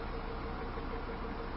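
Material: Nothing is struck.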